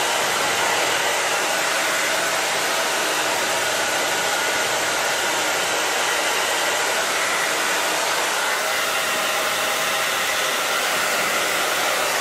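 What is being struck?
Nothing is struck.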